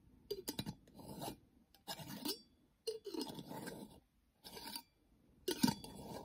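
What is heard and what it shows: Long fingernails tap and scratch on a small, round, clear glass jar with a silver metal screw lid, hollow with a few colorful items inside. Sharp, bright clicks mix with raspy, filing-like scrapes in short bursts separated by brief silences.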